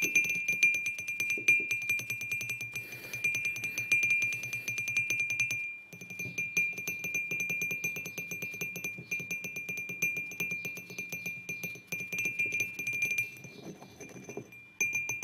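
Short fingernails rapidly tap and scratch the glazed sides of a hollow white ceramic mug resting on a wooden table. Each quick tap gives a bright, short ring near 2.4 kHz over a light scratching texture, with a brief pause around 6 seconds before the tapping resumes.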